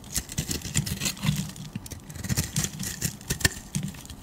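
A solid, beige, oval, palm-sized soap bar, held in a hand with long nails, is scraped with a metal utility blade. Quick, dry scraping strokes follow one another, each with a soft low body and a crisp, bright rasp, then stop short with no ring.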